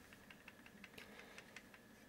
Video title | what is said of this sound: Boxer Mod Classic BF Squonk Mechanical Mod By Ginger Vaper On TVC | little bit of movement and I can hear that a little bit if I shake this